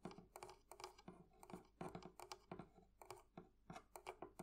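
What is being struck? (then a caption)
Metal fittings on a wooden barrel chest. The metal fittings of a wooden thrift-shop barrel chest are tapped with nails and fingertips. The result is a rapid, uneven series of light, clicky taps with a faint metallic edge, and each one dies away almost at once.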